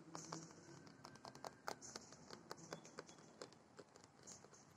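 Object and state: Plastic playground dome, hollow.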